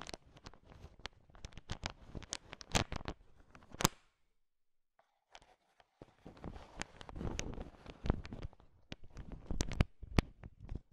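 A heap of candy-coated peanut M&Ms, small hard sugar-shelled peanut chocolate candies, is mixed and scraped with a thin wooden stick. The result is a dense run of sharp clicks and rattling scrapes with bright, crisp edges. Activity pauses for about a second near the middle, then resumes.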